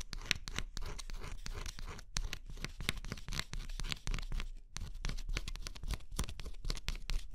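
A metal-tipped stylus scratches in quick strokes across the scratch coat of a flat cardboard scratch-off jigsaw puzzle. The result is a dense run of short, dry, bright scraping strokes, close and continuous with a brief pause near the middle.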